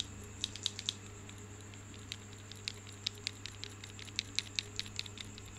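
A bunch of solid marble stone grapes is held by the stem and shaken, so the stone grapes clack together. Short, bright, dry clicks come in irregular bursts over a steady low hum and a faint high whine.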